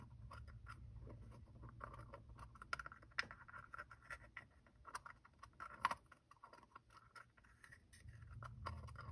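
A small hollow two-piece plastic gacha capsule with black and orange halves is held in both hands while fingertips and thumbs twist and rub the halves apart. The result is quiet, dry scratching and scraping with scattered sharp plastic clicks over a low background hum.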